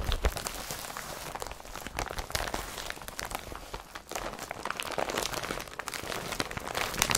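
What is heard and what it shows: Fingers press, crumple and rub the straps and body of an empty blue IKEA BRATTBY carrier bag made of woven polypropylene with yellow straps. A steady stream of dense, crisp crinkling and crackling is heard, with bright, scratchy texture and short soft thumps throughout.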